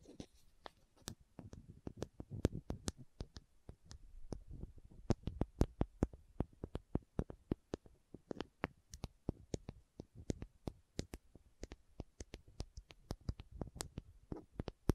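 Long nails tap and scratch a small, hollow green and white plastic contact lens case held close to the microphone. Dozens of quick, sharp clicks sound in an irregular rhythm, each dying away almost instantly over a soft, low hollow thump, with faint scratching in between.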